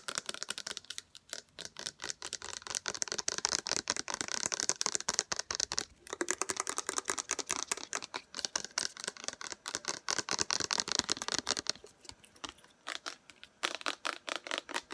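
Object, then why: Plastic body-mist bottle. Long acrylic nails tap fast on a 300 mL plastic body-mist bottle with a floral label, frosted bottom and black pump cap, which is hollow and appears to contain liquid. The result is a dense stream of dry, bright, clicky taps with almost no low end and no ring, briefly thinning around the 6- and 12-second marks before resuming.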